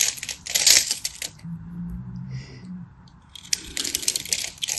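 A craft knife scrapes and cuts a hand-sized, solid, dry bar of teal and white striped soap held in the hand, sending flakes falling. Bright, crisp scraping and crunching bursts fill the opening second, then a quieter stretch carries only a faint low hum. The crackly scraping returns in the last second and a half.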